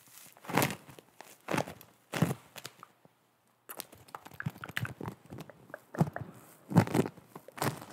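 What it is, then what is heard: Foam bead clay (floam). Long nails scratch and press a disc of foam bead clay (floam) held up close, producing bursts of soft crackling and crunching with a mostly low, muffled body. The crinkly pops come in uneven clusters, with a brief full silence near the middle before denser, busier crackling resumes.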